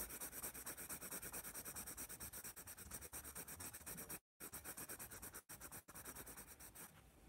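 A graphite pencil rubs and scratches repeated strokes on the page of a hand-held paper sketchbook, just below the letters "AS" written on it. The steady, dense, bright scratching carries a hissy rasp, breaks off in a brief silence about midway and two short dropouts, then softens near the end.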